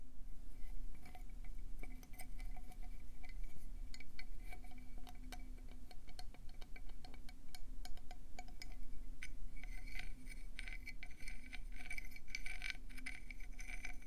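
A conch seashell is tapped quickly with fingers or nails, giving a dense run of bright, clinking, chime-like taps with short ringing tones. A steady low rumble sits underneath throughout, and the tapping grows busier and brighter near the end.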